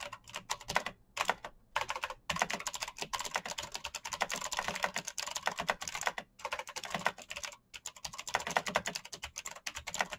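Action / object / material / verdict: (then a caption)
tap / mechanical keyboard with plastic keycaps / plastic / none. Fingertips type fast on a black backlit mechanical keyboard with plastic keycaps and clicky switches. A rapid, steady stream of sharp, bright clicks, each dying out almost at once with little low end, is broken by a few brief pauses.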